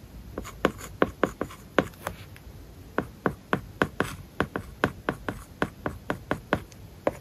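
A plastic stylus tip writes on a large, flat iPad glass screen covered with a matte plastic paper-like film, tapping and scratching across the surface. About two dozen short, dry ticks sound in an uneven writing rhythm, each with a brief scratchy stroke. They die away almost instantly over a faint steady hiss.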